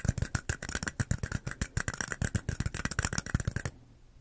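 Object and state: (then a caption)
Plastic cups tapped with fingernails. Long acrylic nails tap and scratch two small, identical, hollow, empty red plastic cups held sideways in both hands beside the mic. The result is a rapid, steady run of short, hollow clicks with a low thump and bright scratchy edges. It stops abruptly near 3.7 seconds, leaving a faint quiet tail.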